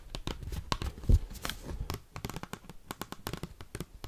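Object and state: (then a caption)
Oversized cardboard card. Fingers tipped with paperclips rapidly tap and scratch the back side of an oversized, thin cardboard Pokemon trading card. It makes a fast, uneven run of sharp, dry clicks and scratchy crackles, with dull low thumps from the flexing card and one louder knock just after the first second.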